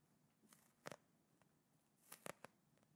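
A small clear plastic gel ice pack filled with blue gel beads is squeezed and scratched with fingertips and nails close to the mic. It gives quiet, dry crinkling and crunching in two short clusters of bright, sharp crackles with a low background hiss between them.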